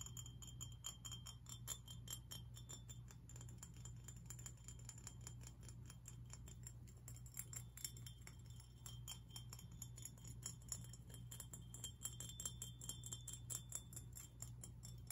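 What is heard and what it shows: A medium-sized, hollow, teal glazed ceramic fish-shaped lantern with cut-out openings, held in the hands, is tapped and scratched with fingernails across its body and the edges of its openings. Quick, uneven, bright clicky taps and scratches with very short ring sit over a steady low hum throughout.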